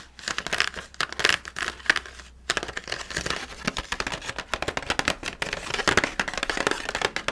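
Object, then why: Plastic blister pack on cardboard backing. Fingertips and nails tap and scratch the clear plastic blister of a small, handheld Halloween pumpkin carving kit, with red plastic tools sealed inside against an orange cardboard backing card. The result is a dense run of bright, crinkly plastic clicks and scratchy rustles with almost no ring, broken by a brief pause near the middle.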